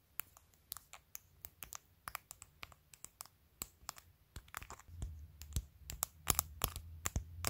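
Long, pointed pastel acrylic press-on nails glued onto a clear plastic phone case tap and click on the case close up. The result is a steady run of sharp, bright, dry clicks with almost no ring. A soft low rumble of rubbing underneath swells in the second half as the tapping grows louder and denser.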